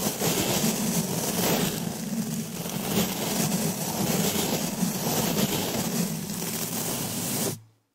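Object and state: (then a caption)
Metal mesh microphone grille being brushed. A round, hollow black woven metal mesh microphone grille is brushed and scratched with a green plastic-bristle brush held in a black latex-gloved hand. A steady, dense rasping scrape with a low hum persists for about seven and a half seconds, then cuts off abruptly to near silence.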